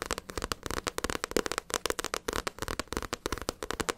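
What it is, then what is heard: Paperback book, card cover tapped with nails. Long acrylic nails rapidly tap the glossy card front cover of a small, solid Naruto paperback manga book. About 25 quick, crisp clicks land in a steady stream, each dry and short with almost no ring.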